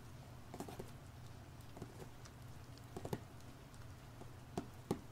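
Fingertips tap and scratch the front face of a small, hollow, printed cardboard LEGO Overwatch set box held in both hands. Soft, dull taps come at irregular intervals over a faint low rumble and light scratchy texture. Each tap is short and dies away almost immediately.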